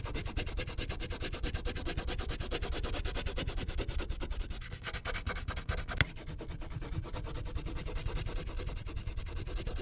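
A purple wax crayon rubs and scratches across the top area of a thin paper coloring sheet clipped to a clipboard, filling in the color. Rapid, steady back-and-forth strokes make a dense, low, rough rubbing with a faint bright scratch, broken by one sharp tick near the six-second mark.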